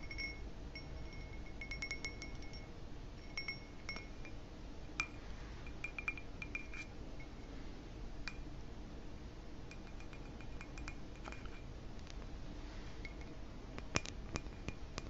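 A dark smoky, ribbed pressed-glass footed goblet, hand-sized, hollow and apparently empty, is held in the hands and tapped with fingertips and short nails on the bowl and stem. The taps make quiet, scattered clinks and ticks, some leaving a brief bright ring near 2.2 kHz with a higher overtone, over a steady low background rumble.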